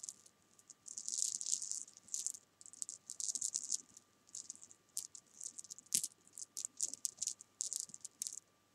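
A row of small solid jelly beans resting on a sofa is pushed and scratched with long painted nails, making them rattle. Quiet, bright, dry bursts of clicking and scratching rattle come and go in uneven clusters, each dying away almost at once, over a faint steady tone.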